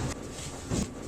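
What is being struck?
Nothing is struck.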